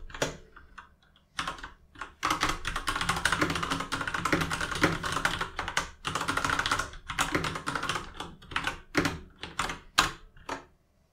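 Fingertips type dense runs of key taps on a full-size RGB mechanical keyboard with plastic keycaps. Quick, bright clacks blur into a steady patter with brief pauses, then slow to a few separate taps near the end.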